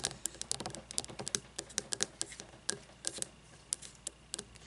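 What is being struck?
Frosted glass candle jar.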